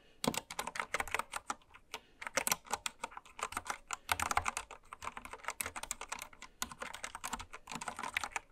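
A full-size white-cased mechanical keyboard with pastel plastic keycaps rests on fabric while long red nails and fingertips type fast across it. The keys give a dense run of short, bright plastic clacks with sharp attacks and almost no ring. Little low end sits beneath the steady typing.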